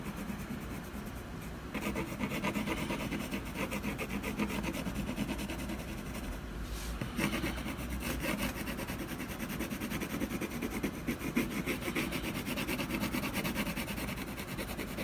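A brown colored pencil scratches across a solid canvas panel resting on a table in steady shading strokes. It makes a continuous dry, rasping scrape with a low steady hum underneath. The scratching grows brighter after the first couple of seconds, pauses briefly around the seven-second mark, then resumes.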